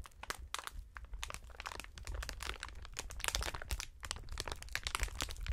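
A clear polyethylene strip of air-filled plastic cushion packaging is held across the chest by gloved fingertips and pressed and crinkled. It gives a dense, continuous run of sharp, bright crackles and crinkles over a low, soft rumble, growing busier and louder after the first couple of seconds.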